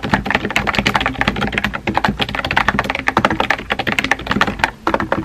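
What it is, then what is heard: Plastic mechanical keyboard being typed on. Rapid typing on a compact pink plastic mechanical keyboard with a hollow body and round white-and-pink typewriter-style keycaps, resting on a desk and tapped by fingertips with painted nails. Quick, dry, clicky key taps follow one another in a steady flurry, each with a short, bright clack and almost no ring, over a faint low hum.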